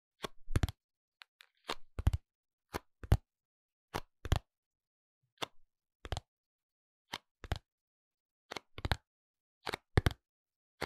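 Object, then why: Small cardboard box with soap inside. A small pink printed cardboard box of Minon medicated soap, closed with the soap inside, is held in both hands and tapped and scratched with the fingertips and short nails. Many short, dry taps land in quick clusters across about eleven seconds. Each has a soft low thump near 100 Hz and a faint bright papery edge, with silence between the bursts.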